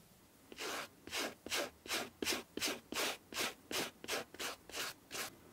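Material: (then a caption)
Suede. A white bristle brush is rubbed back and forth over the black suede upper of a Lanvin sneaker with metal eyelets and a white sole. Twelve steady, evenly spaced brushing strokes produce a bright, airy scratching sound, about three per second, each ending in quiet between strokes.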